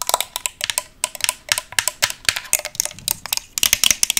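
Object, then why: Chrome-plated metal mirror stand. A small round tabletop vanity mirror with a chrome metal stand and round base is held in the hands while its metal base is fast-tapped with paperclip-covered long nails. The result is rapid, irregular bursts of sharp, bright metallic clicks with almost no low end, each dying away almost instantly.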